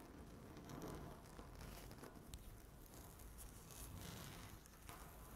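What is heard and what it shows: Long natural nails scratch a flat, solid speckled laminate tabletop. A quiet, continuous scratchy rustle runs throughout, with faint bright crackles over a low, dull rumble.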